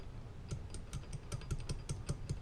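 While rebuilding a Meyers E-47 plow pump, a metal valve part dropped skinny side down into the pump bore is tapped into position with a steady series of quick, dull taps. Each tap gives a short low thud with a faint bright tick and almost no ring. The part clicks down in and is properly seated.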